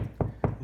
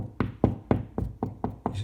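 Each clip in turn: First: hollow drywall between studs. Second: drywall over a stud (solid).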